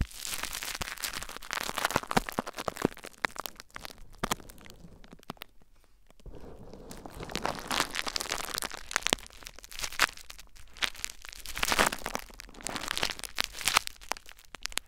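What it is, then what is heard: Plastic bubble wrap. Fingertips scratch clear plastic bubble wrap laid over a recorder, then hands cup and press the wrap. The result is dense, bright crinkling and sharp crackles that thin out to a quiet lull around five to six seconds before building again into louder bursts of crackling.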